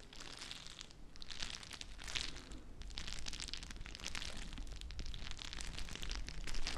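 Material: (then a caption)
Plastic. A small clear plastic bag filled to the brim with teal gel water beads is squeezed and crinkled by fingertips with long nails. A steady stream of soft crinkling and squishy crackling is heard, with bright rustling on top of a deep low rumble, growing slightly louder toward the end.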